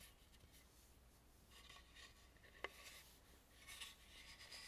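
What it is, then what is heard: Carved wooden mask, scratched. Fingertips and long nails rub and scratch along the carved gold crown edge of a hollow carved, painted wooden mask with a gilded crown and sides. The sound is a quiet, bright, dry scraping with bursts of rasping texture, broken by a sharp, short click partway through. Brief louder scratches follow near the end.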